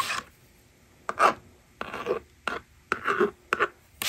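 A plastic stylus rasps numbers onto the screen of a plastic magnetic drawing board resting on a table, and a fingertip pushes the eraser slider. Short, dry scratchy bursts of stroking and scraping come in uneven spurts separated by near silence, with a mid-range rasp centered around 1.1 kHz and little low end.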